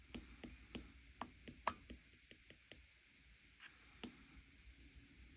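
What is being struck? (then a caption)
Glass tablet touchscreen tapped with a plastic stylus tip. An iPad lies flat on a table with its glass touchscreen showing a colouring app, tapped repeatedly by the plastic tip of an Apple Pencil-style stylus while the other hand, with long teal nails, rests on the bezel. The result is a quiet, irregular series of short, dry, clicky taps with a bright edge and almost no ring, separated by soft gaps.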